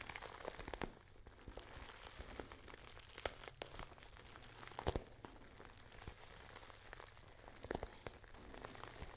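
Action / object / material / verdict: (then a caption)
tap / patent vinyl pouch / vinyl plastic / none. Long painted nails tap and scratch the surface of a small, thin, hollow, pale pink glossy patent vinyl pouch with a zip and a small metal logo plate, held up in front of the face. The result is quiet, dry crinkly scratching with short, quick-fading taps, a few louder clicks standing out, over a steady low hum.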